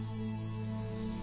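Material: Nothing is struck.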